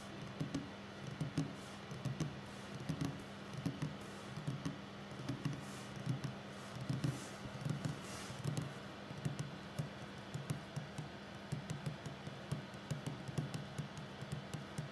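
Both hands tap quickly on a solid, flat wooden tabletop with fingertips and short nails. The result is a continuous run of soft, low, knocking taps in uneven clusters, with faint clicky nail edges over a steady low hum.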